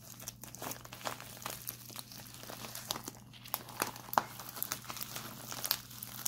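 A white printed plastic instant cold pack is held upright and twisted in both hands, then squeezed and scratched with fingertips. It gives dense, bright crinkling with sharp crackling snaps over a faint steady low hum.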